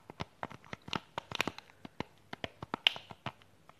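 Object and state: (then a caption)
Plastic eyelash box in cellophane, tapped and scratched. A small, hollow, clear plastic false eyelash box wrapped in cellophane is held in both hands while long pink nails tap and scratch its surface. The result is a rapid, irregular run of sharp, dry, bright clicks with very short ring and faint crinkly scratching between them.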